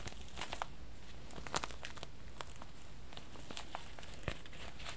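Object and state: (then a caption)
Crinkling thin plastic packaging. Fingers crinkle and rub the thin plastic wrap of a long, clear plastic tube package with a red end resting on a lap. Scattered sharp, bright crackles and crinkles pop out irregularly over a low, steady background rumble, with a few louder snaps standing out.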